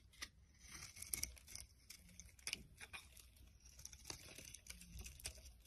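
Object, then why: Bar of soap cut with a metal blade. A metal blade scrapes and chips a solid rectangular pink and orange bar of soap, flaking off many pieces. Quiet, crisp, bright scratches and crunchy ticks come at an irregular pace over a low, soft background hum, each one short and dry with almost no ring.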